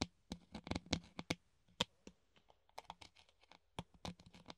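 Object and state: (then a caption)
Clear plastic funnel. A hollow clear plastic funnel is held in both hands and tapped with the nails on its rim and cone. About fifteen short, dry, bright clicks come in irregular bursts with brief pauses, each carrying a faint low hollow body tone and dying away almost instantly.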